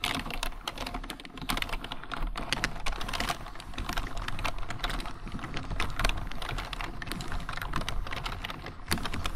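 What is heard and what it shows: Fingertips of both hands type continuously on a full-size black plastic computer keyboard. Dense, rapid clicking and clacking keystrokes run without pause, each tap short and dry with bright upper edges over a low thumping body.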